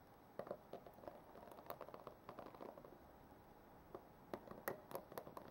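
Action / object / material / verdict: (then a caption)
tap / plastic paddle hairbrush / plastic / none. Long nails and fingertips pat and scratch the plastic bristles of a black plastic paddle hairbrush lying on a wooden table. Quiet, irregular soft taps and scratchy clicks come in loose clusters over a faint steady hiss, each one short and dry with little ring.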